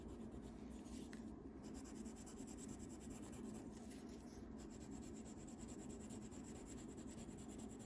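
A wax crayon is rubbed back and forth over a thin printed paper coloring page lying on a wooden table, coloring in a reindeer's antlers. The result is a steady, continuous soft scratching and rubbing with a low, grainy texture and faint brighter rasps.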